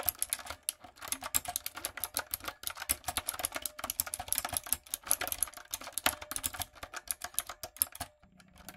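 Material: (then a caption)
Plastic. Long coffin nails and fingertips type rapidly on a backlit, typewriter-style mechanical keyboard with round retro plastic keycaps and a hollow plastic body. The result is a dense stream of bright, sharp, clacky keystrokes with almost no ring, ending in a short, quiet pause with a faint low hum.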